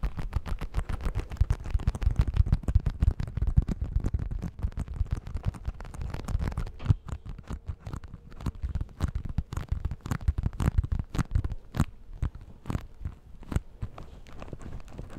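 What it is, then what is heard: Vinyl zip bag. Long nails and fingertips do fast, sticky tapping on the flat surface of a small clear vinyl zip-top pouch with a green zip strip, held in both hands, with a pack of facial tissues inside. The taps are short, dull and low, packed into quick dense bursts at first, then thinning into more spaced-out, sharper clicks toward the end.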